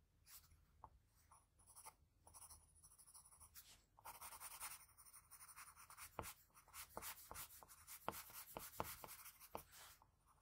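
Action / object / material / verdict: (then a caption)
scrape / graphite pencil on a paper drawing sheet / paper / none. A graphite pencil draws the outline of lips on a flat sheet of white drawing paper with scratching strokes. Quiet, bright, papery scratches come in irregular bursts, with sharper short strokes and ticks in the second half.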